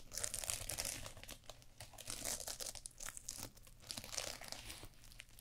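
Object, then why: Fabric eye mask covered in flip sequins. A small fabric eye mask covered in flip sequins, worn over the eyes of a mannequin head, is scratched and rubbed with long purple fingernails. It makes a dense, bright, crinkly scratching in overlapping bursts that swell and fade, over a faint steady low hum.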